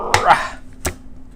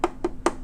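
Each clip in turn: First: Two short, dull mid-pitched taps with almost no ring: the hollow-sounding plastic back of a scanner housing. Second: Three quick fingertip taps give a brief mid-pitched tonk, the thin ring of a metal front panel.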